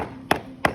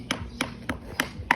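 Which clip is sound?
The second.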